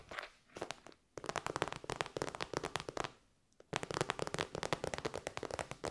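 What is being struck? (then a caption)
Synthetic faux-leather pouch. A hollow, shiny pink metallic faux-leather pouch is tapped and scratched on its top and side with long white nails. Quick, crisp, dry clicks and crinkly scratches come in dense bursts, broken by two brief silent pauses. Each tap dies away almost at once.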